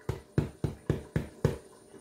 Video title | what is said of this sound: CARA MEMBUAT ROTI GANDUM YANG BENAR-BENAR GANDUM 100% -- LEMBUT SEPERTI ROTI BAKERY | Ketuk dasarnya itu suaranya seperti Kosong gitu dia udah matiinnya